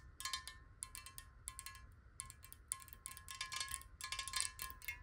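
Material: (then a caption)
Glass. A large clear glass water bottle, hollow and partly filled with water, is held horizontally in both hands and tapped rapidly with long acrylic nails. Quick, bright clicking taps come in uneven bursts over a steady faint ringing tone near 1 kHz. Each tap decays almost at once, with a low, quiet rumble underneath.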